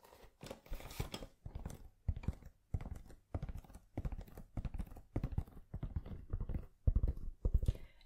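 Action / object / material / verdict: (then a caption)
scrape / suede zippered pencil case / suede / none. A tan suede zippered pencil case, soft and hollow and seemingly holding contents, is held in one hand and tapped and scratched with long nails. The result is a steady run of short, muffled, crunchy bursts of tapping and scraping, dull and mostly low in tone, separated by brief pauses.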